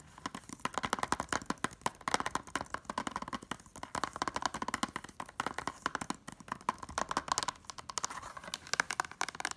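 Long nails and fingertips rapidly tap the front cover of a closed, thin, hollow blue plastic Blu-ray case holding a disc. A fast, uneven stream of sharp, dry clicks and light knocks carries a hollow plastic tone centered in the midrange, with bright edges. Each tap dies away almost instantly.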